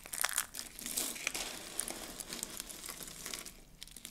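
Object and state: Dry soap shavings being crushed.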